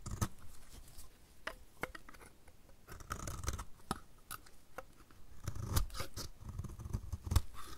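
The edge of a solid orange striped dry soap bar, held in the hand, is scraped with a utility knife blade. A quiet series of short, dry, crisp scraping strokes with bright crackly bursts stands over a low, muffled handling rumble, each stroke stopping abruptly with no ring.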